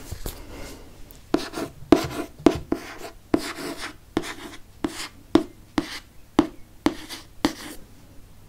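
Fingertips trace and rub across the glossy board front cover of a Harry Potter and the Chamber of Secrets hardcover held upright. Soft, dry scratching and brushing sweeps are punctuated by about fifteen short, sharp taps with a low, hollow tone around 330 Hz. Each tap decays almost instantly, with bright, airy friction between them.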